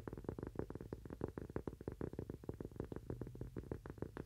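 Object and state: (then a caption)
Cork coaster. A thin, solid, toast-shaped cork coaster about the size of a palm is held upright in both hands and tapped with the fingernails of both hands. About 27 quick, uneven taps land in rapid flurries, each a dull, soft knock centered low-mid with almost no high end. Every tap dies away almost instantly.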